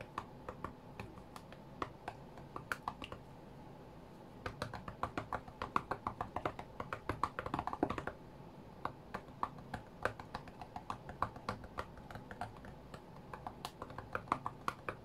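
The glass touchscreen of a white iPad lying flat on a green cutting mat is tapped rapidly with the fingertips and short nails of both hands while a rhythm game is played. Dry, sharp clicking taps come in quick, uneven bursts with no ring over a faint steady hiss, easing briefly about a third of the way through before picking up again.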